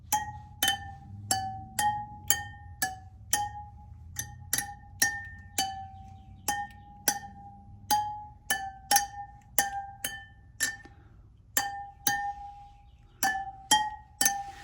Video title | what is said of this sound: How To: BMW R1250GS 600-Mile / 6,000 Mile Service (Oil Change - Final Drive Fluid) | they all have the exact same ping sound if you hear a pong then you know you have a loose spoke